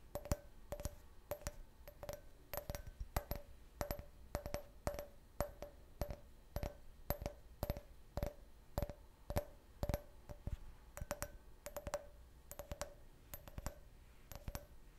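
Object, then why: Can-shaped glass drinking glass. A clear, hollow, empty can-shaped beer glass is held upright and tapped with fingernails on its side and base. About fifty quick, irregular clicky taps each carry a short glassy ring near 600 Hz with bright, high overtones. The taps are spaced by brief quiet gaps.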